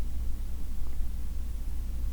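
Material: Nothing is struck.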